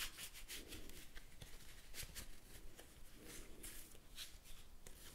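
A small deck of thin paper playing cards is handled and shuffled by fingers with blue-painted nails close to the microphone. Soft, dry papery rubbing and brushing comes in irregular bright swishes over a low, steady rumble, with no lasting ring.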